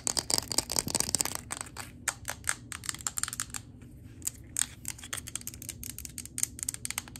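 Long acrylic nails tap and scratch the glass base and sides of a large 3-wick glass candle jar, full of wax and with a printed label, held near the floor. Rapid, bright clicks pile up densely in the first second, then thin into quicker scattered taps. Each tap is short and dry, with almost no ring.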